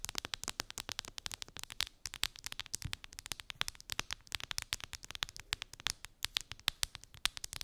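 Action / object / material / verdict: tap / clear plastic phone case / plastic / none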